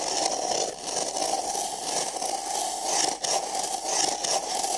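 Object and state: Paper cup scratched.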